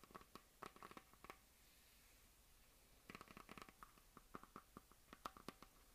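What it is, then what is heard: Plastic desk globe. Fingernails and fingertips scratch and rub across a hollow plastic map globe on a stand, making quick, dry scratching strokes with a hollow ring around 1.2 kHz. The strokes come in two bursts, with a quiet pause of about a second and a half between them, and each dies away almost at once.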